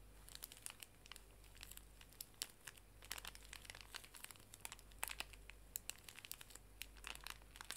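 A small, full pink plastic-film pocket tissue pack is held horizontally and squeezed and crinkled with fingertips and long nails. Quick, bright, crisp crackles come in irregular bursts, each dying away almost instantly. Beneath them runs a quiet, steady low hum.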